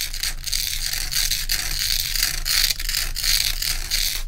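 Long pointed nails quickly scratch the frosted top surface of a large, solid, round ice block. The result is a steady, dense, bright scratching hiss with brief dips, over a faint low rumble.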